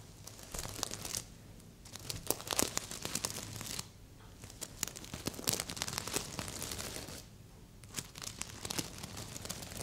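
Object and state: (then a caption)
Sequin fabric heart pillow. Long fingernails scratch and tap across the surface of a stuffed red sequin heart pillow, making bright, crisp, crinkly rustles and sharp clicks. The scratching comes in three busy stretches separated by brief quieter pauses.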